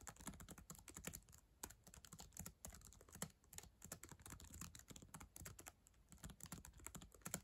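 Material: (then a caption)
Plastic. Long acrylic nails and fingertips type steadily on the plastic keys of a black ThinkPad laptop keyboard, a solid device. The result is a fast, continuous stream of short, crisp clicks and taps, each with a bright tick over a soft low thud, dying away almost instantly.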